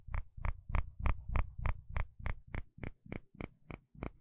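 A wooden spatula scrapes across the fine teeth of a dark blue plastic comb in 14 steady, evenly spaced strokes. Each stroke gives a short, dry rasp with a low, thudding rumble underneath and a bright, crisp edge on top.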